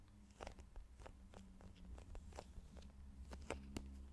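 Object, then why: Small soft plastic squeeze tube. Long nails tap and scratch a small, hollow, partly filled soft plastic squeeze tube for cosmetics with a green plastic cap. Quick, dry clicks and faint scraping scatter through the clip over a steady low hum. Each tap dies away almost instantly.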